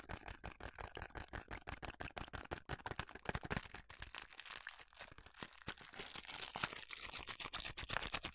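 A small, hollow cardboard food colouring box is scratched and tapped with long nails, with some hand movement. The result is a dense run of quick, dry, bright clicks and scratchy rustles that die away almost instantly, with little low end.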